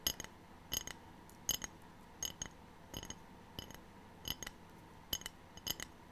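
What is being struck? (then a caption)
Ceramic tray. A ceramic tray is tapped in quick pairs of light taps repeated about every three-quarters of a second, giving bright, high, glassy clinks that die away almost at once. A faint steady hum sits underneath between the taps.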